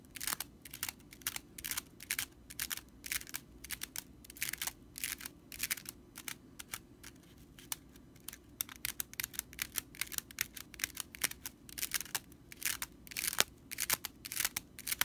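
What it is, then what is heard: Straw whisk broom bristles. Long nails scratch quickly across the bristles of a stitched straw whisk broom, making a fast stream of dry, bright, crackling rattles. The short scratchy bursts come in quick irregular clusters over a faint steady low hum, with almost no ring after each one.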